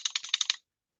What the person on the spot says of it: that tapping sound is metal on metal, and it's that screw hitting the frame and leaving a nice little dent